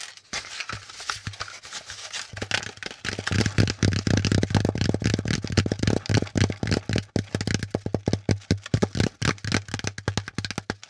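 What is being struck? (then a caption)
Corrugated cardboard packaging insert. Fingertips and nails tap and scratch an empty, hand-sized brown kraft cardboard packaging insert with pleated, hollow compartments, while it is handled and crinkled. A rapid, irregular stream of short, dry taps carries a hollow low thump beneath crisp scratching and crinkling. The sound builds after the first couple of seconds and stays busy to the end.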